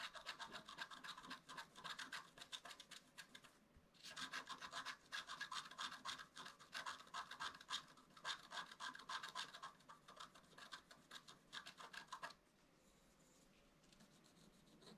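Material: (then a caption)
Coated paper. A wooden stylus scratches the coating of a flat black-coated scratch-art card in fast, repeated strokes, making a bright, dry rasping sound. There is a brief pause near the 4-second mark. The scratching stops at about 12 seconds, leaving faint quiet background.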